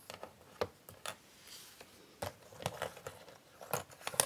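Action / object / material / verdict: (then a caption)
scrape / cardboard jigsaw puzzle pieces on a board / cardboard / none. Both hands with long painted nails spread and shuffle a pile of small, thin, solid cardboard jigsaw puzzle pieces across a flat grey puzzle board. Soft sliding rustles are broken by about ten short, bright nail taps and clicks, quiet overall and dying away almost instantly.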